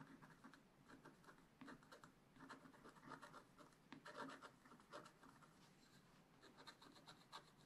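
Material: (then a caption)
Coated paper. A wooden stylus scratches small spots on a flat, black-coated scratch-art page in a spiral-bound book. Short, dry, quiet scratching strokes come in a steady series of bursts, with a papery midrange rasp and a bright edge. Each stroke stops quickly with almost no ring.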